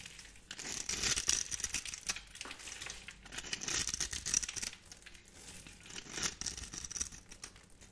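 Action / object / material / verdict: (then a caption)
scrape / bar of soap scraped with a metal blade / soap / none. A hand-held, solid purple bar of dry soap is scraped with a metal blade, held by a hand with long painted nails, cutting crunchy cubes off its surface. Dense, dry crackling and crinkly scraping come in uneven bursts, with almost no low end and a steady high, bright hiss running through the strokes.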